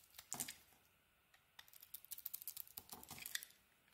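A metal blade scrapes and carves thin flakes from a solid pink bar of soap. Quiet, bright, crisp scratches and crackles come in short bursts, with a pause early on and then a quick, dense run of dry flicking scrapes.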